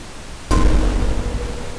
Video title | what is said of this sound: Vintage Recording: 1930s Mic (and others)! | if you tap the ring, you can hear it echo and reverberate through the mic